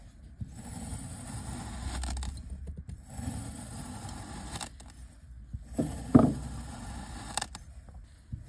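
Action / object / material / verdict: scrape / kinetic sand dome cut with a knife / kinetic sand / none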